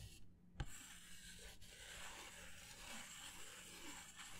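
Fingertips rub and scratch a white disposable paper plate held by its rim, producing a steady, dry, papery rasp with bright hiss. A sharp tap-like click stands out near the start before the soft scratching continues evenly.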